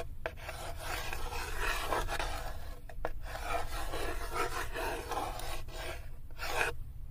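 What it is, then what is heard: Small wooden block scraped in a wooden tray. A hand with long white-tipped nails rubs a small solid wooden cube across the floor of an empty, light wooden tray near its side wall. The result is a steady, dry rasping scrape with brief pauses and short strokes, carried over a low, dull rumble.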